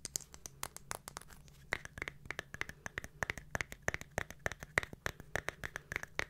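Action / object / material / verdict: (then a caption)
scrape / small round glitter-covered jar with lid / glitter / none. Long nails scratch over the glitter surface and lid rim of a small round silver glittery jar with a lid as it is turned in the hands. The result is a quick, uneven run of short, dry scratchy clicks with a bright edge near 1.9 kHz, over a faint low hum.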